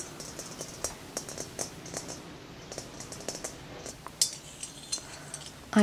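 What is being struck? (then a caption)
Hollow glass sphere. Fingertips with short nails, with rings on the fingers, tap quickly on a large, hollow, clear glass plasma ball with an inner electrode. The result is a rapid, uneven series of sharp, bright clinks, each with a very short ring. The clip ends with a louder, sustained ring.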